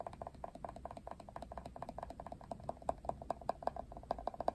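Fingertips and nails strum and flick the thin plastic bristles of a hand-sized plastic Wet Brush detangling paddle brush with a silver handle, pink rim and black cushion. The result is a quiet, rapid, irregular run of short ticking plucks. Each pluck has a dry midrange tone around 690 Hz that dies away almost instantly.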